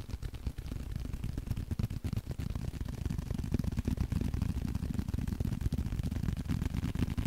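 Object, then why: Small leather card holder. A small blue leather card holder is tapped and scratched with the fingertips close to the mic. The result is a dense, uneven run of soft, muffled low thuds with short scratchy rustles between them, continuing steadily throughout.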